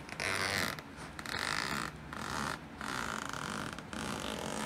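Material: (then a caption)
Nylon, metal. A hand with long light-tipped nails pulls the small metal zipper slider along the side seam of a black woven nylon fabric backpack resting on a wooden floor, while the other hand holds the bag. Repeated zip strokes produce a bright, raspy zipping texture centered around 1.8 kHz, with brief pauses between strokes.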